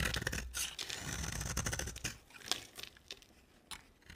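A utility knife blade carves and scrapes a solid purple marbled bar of dry soap into flaky shavings. Dense, bright, crackling scrapes run almost continuously at first, then thin out into separate sharp strokes and short rasps.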